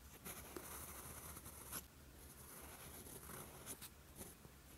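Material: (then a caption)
Paper. A steel fountain pen nib scratches across a flat sheet of lined writing paper, writing green-ink Korean characters. The quiet, continuous scratching has a bright, papery hiss and a low steady hum beneath it. Two sharper strokes stand out from the rest.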